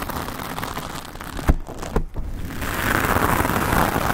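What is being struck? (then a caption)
Foam microphone windscreen. Long acrylic nails of both hands scratch and rub all over a rounded black foam windscreen, soft and porous over the hollow head of a decorated microphone. It makes a dense, crackling rustle with a heavy low rumble, broken by two sharper thumps near the middle. Then the scratching grows louder and brighter toward the end.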